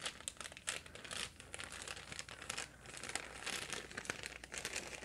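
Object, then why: Plastic packaging bag. A printed plastic package of light-up balloons is crinkled and squeezed by fingers with painted nails. The result is a steady run of bright, crackling rustles with sharp crunchy snaps and little low end, continuing throughout.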